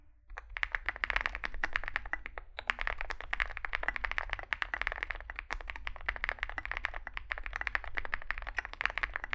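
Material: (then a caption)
Aluminium, plastic. Both hands type continuously with their fingertips on a compact 65% Zoom65 mechanical keyboard, which has an aluminium case, foam filling, lubed switches and SA plastic keycaps and rests on a desk mat. The result is a steady, dense stream of short, crisp key clacks centered around 1.7 kHz with bright top edges, over a faint low hum.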